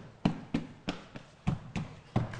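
Knocking on a hollow stage floor built over a swimming pool, on a TV set. A series of short, dull, low-pitched thuds with little ring, each dying away quickly. The knocks sound hollow because of the pool underneath, unlike a solid spot elsewhere on the floor.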